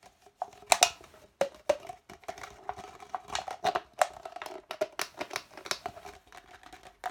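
An empty, hollow red plastic party cup, held sideways, is scratched and tapped with fingernails along its ridged wall and bottom. The result is a fast, uneven run of sharp clicks and scratchy rasps, each with a brief hollow plastic tone around 700 Hz and bright upper edges. There is no low end, and each hit dies away almost instantly.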